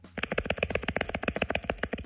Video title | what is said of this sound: Easter Egg Hunt and Arts & Crafts ! - Educational Videos for Kids - Baby Toddler Tactile Learning | This one sounds different than the others, doesn't it?